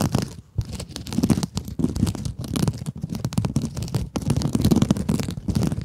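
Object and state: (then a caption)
Mesh scrub sponge. Long acrylic nails scratch across a small pink scrub sponge with a glittery mesh surface. The result is a steady run of dry, crinkly scratches and rustles in quick bursts, with a soft, full low body, fading briefly before picking up again.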